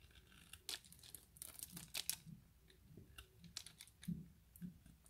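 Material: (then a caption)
Glycerin soap. A hand-sized, solid, translucent orange glycerin soap bar held in the fingers is scraped and shaved into small cubes with the blade of an orange utility knife. A quiet series of short, crisp scraping and crunching strokes sounds, with bright high-end hiss and soft low thumps under each cut.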